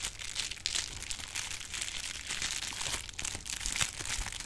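A roll of clear plastic bubble wrap is squeezed with the fingers and its bubbles are popped, giving a continuous bright crinkling texture. Sharp little pops and crunches break through now and then, with a faint low thump underneath.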